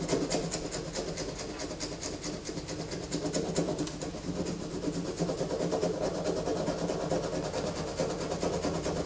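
Fingernails scrape shavings off a solid white bar of soap held in the hands. A steady run of quick, rasping scratch strokes repeats at roughly two per second, each a bright, dry scrape over a soft mid-range rubbing texture, continuing evenly throughout.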